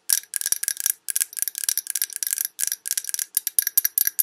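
Long red nails tap rapidly on the sides of a large glass Yankee Candle jar full of wax, tilted to show the glass and rim. The result is a stream of crisp, bright clicks with a thin glassy ring, coming in quick clusters of taps separated by brief pauses.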